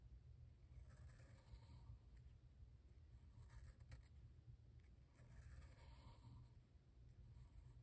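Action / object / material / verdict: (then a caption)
scrape / felt-tip marker on paper sketchbook page / paper / none. A black felt-tip Sharpie marker draws continuous curved lines on a white page of a spiral-bound sketchbook lying flat on a dark surface. The tip rubs across the paper in soft, bright scratchy strokes over a steady low hum.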